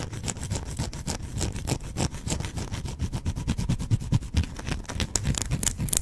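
A solid, hand-sized white bar of soap is held in one hand and scratched with fingernails. The result is a steady run of quick, crackly scraping strokes with a heavy low thump under them and bright, gritty edges on each stroke.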